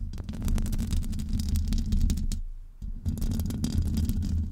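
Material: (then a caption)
Metal. Long almond-shaped nails on both hands scratch continuously over the grille of a large, hollow metal mesh microphone head. The result is a dense, low, rumbling scrape centered near 70 Hz, sprinkled with faint bright ticks. It dips briefly quieter partway through before resuming.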